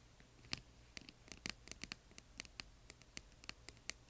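Long nails and fingertips tap and scratch the sides of a small, hollow, yellow glittery plastic box holding colored plastic bingo chips. About seventeen quiet, sharp, bright clicks and ticks come in an irregular patter, each dying away almost instantly over a soft scratchy hiss.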